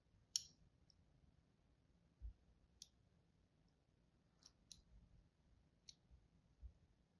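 A thin metal tool, held in a hand with long pink nails, scratches and scores lines into the surface of a solid, palm-sized white soap bar held in the other hand. The result is a few sparse, quiet, bright scraping clicks that stop almost instantly, with soft low bumps between them over a faint background.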